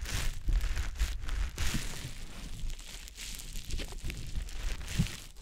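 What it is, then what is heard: Wet konjac sponge puff. A small, soft, damp green teardrop-shaped konjac sponge puff, held in the fingers, is rubbed and squished over the silicone ear of a dummy-head microphone. It makes close, wet crinkling and squelching with a bright, airy rustle, over a dull low rumble of soft thumps. The rubbing stays continuous and fades slightly toward the end.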